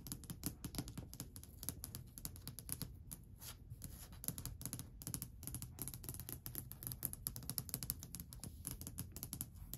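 Long white almond-shaped nails tap and scratch rapidly across a long, flat, solid varnished wooden ledge or stair top. The result is a quiet, continuous stream of short, dry clicks with a low body and bright tips, each dying away almost instantly, mixed with faint scratching.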